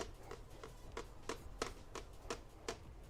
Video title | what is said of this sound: Test Cut Tuesday LIVE! Chat and Paint TUES LIVE March 4 2025 7:00pm EST! | I hear the bottom piece moving a little over here